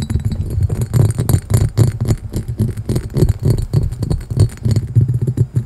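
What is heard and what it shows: A clear, hollow, empty cut-glass carafe with a diamond pattern and a handle is held close to the microphone and tapped and scratched with fingertips and nails. The result is a fast, irregular run of short, deep, thumping taps around a low pitch, each dying away almost at once, with faint brighter scratchy texture between them.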